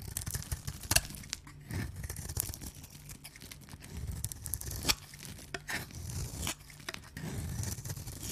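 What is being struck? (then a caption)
Bar of soap cut with a knife blade. An oval, solid pink embossed dry soap bar, held in the hands, is sliced and scraped with a knife blade, exposing its white cut face while shavings fall onto the surface below. Dry, crisp scraping and cutting strokes come in irregular bursts, with sharp bright clicks and a low rumble underneath.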